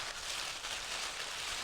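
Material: Nothing is struck.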